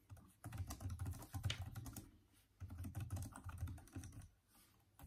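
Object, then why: Plastic laptop keyboard keys. Both hands type with their fingertips on the backlit, hollow plastic keys of a Microsoft Surface laptop keyboard. Continuous key taps come in two bursts separated by a short pause near the middle. Each tap is a soft, low, hollow thud that dies away quickly, with faint bright clicks on top.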